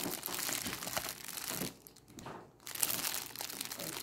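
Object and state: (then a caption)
Crinkled clear plastic bag. A thin, clear plastic cellophane bag is scrunched and crinkled by fingers with long acrylic nails, producing dense, bright crackling. The crinkling eases into a near-quiet lull partway through before resuming.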